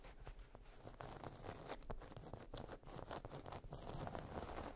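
Long nails tap and scratch across the surface of a solid, round, flat cork trivet or coaster resting on fluffy fabric. The sound is a quiet, continuous run of soft, dry taps and rough scratches with a muffled, papery texture.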